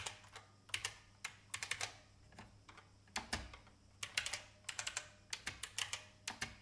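Fingertips with long painted nails type on an old, full-size beige IBM plastic mechanical keyboard with a hollow case. Bright, hollow clacks fall in irregular bursts with brief pauses, each tap short and crisp with very little low end and almost no ring.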